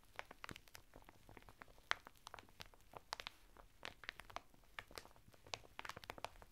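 Fingertips scratch and rub the textured surface of a flat bath mitt of coarse woven natural fibre, sealed in a thin printed plastic packet lying sideways on a table. The result is a quiet, rapid series of short, dry crinkling and scratching ticks, bright in tone with little low end and no ring after each one.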